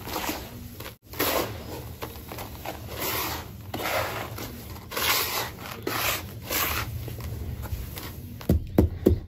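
Bare hands rub, squeeze and crumble a loose, crumbly pile of grey dry sand-cement mix filling a red plastic tub. A steady gritty rustling and scraping rises and falls in uneven bursts, with bright grainy hiss on top, a brief pause near the first second, and a few sharper, louder crunches at the end.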